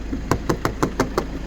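Knocking on the plastic aftermarket hood scoop cover of a 2011 Toyota Commuter van gives six short, hollow, dry taps with almost no ring. A low steady hum continues underneath.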